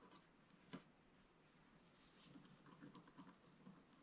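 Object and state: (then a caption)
Scratch-art paper being scratched. A wooden stylus scratches a flat black-coated scratch-art paper sheet, giving one sharp scrape early on. After a quiet stretch comes a run of short, soft scratches. The strokes are quiet and dry, with a low papery body and a faint high hiss.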